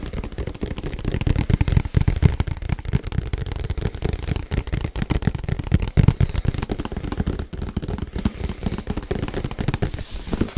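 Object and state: Cardboard box.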